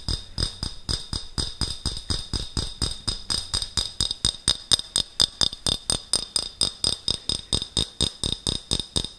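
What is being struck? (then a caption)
Glass jar with metal screw lid. A clear, medium-sized glass jar with a gold metal screw lid is held in hands near the microphone while fingertips and nails tap and scratch its glass sides and lid. About 47 quick, bright clinks come in a steady but slightly uneven rhythm, each one dying away almost instantly. A high glassy ring sits around 3.6 kHz, with faint scratching between the taps.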